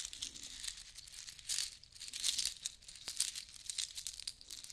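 A long strand necklace of small white seashells and beads is lifted and shaken by hand, so the shells rattle against each other. The result is a dense, bright clicking and crinkling rattle that swells and fades in a few louder bursts, with almost no low end.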